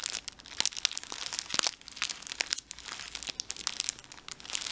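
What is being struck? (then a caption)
Thin plastic tissue-pack wrapper. A soft, mostly empty small blue plastic wrapper from a Tempo tissue pack is crinkled, squeezed and stretched with the fingertips. It makes a steady run of bright, crackly crinkles and sharp little snaps with almost no low end. Each crackle stops at once, with no ring after it.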